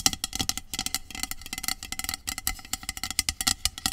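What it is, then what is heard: Aluminum aerosol spray can. Long acrylic nails rapidly tap and scratch the body of a hollow, medium aluminum dry shampoo aerosol spray can lying on its side. The result is a dense series of crisp, bright metallic clicks with very little ring, layered with thin, high scratching.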